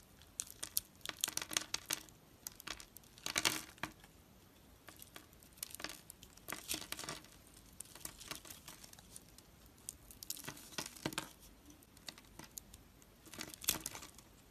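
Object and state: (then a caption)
Gold-coated soap bar being carved. A hand-held solid bar of soap with a gold metallic coating, pre-scored into a grid, is scraped by a metal knife blade that shaves off small cubes. Quiet, bright, crumbly crinkling scrapes come in short bursts with brief pauses between them. Most of the sound sits high, with very little low end.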